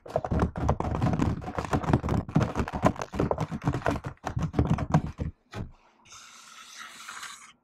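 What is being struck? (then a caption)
Laptop keyboard with plastic keys, typed with fingertips and long nails. Fingertips and long nails type rapidly on a laptop keyboard with plastic keys, producing a dense run of short, thumpy clicks and taps. The typing stops after about five seconds with one last tap, followed by a faint, bright hiss until the end.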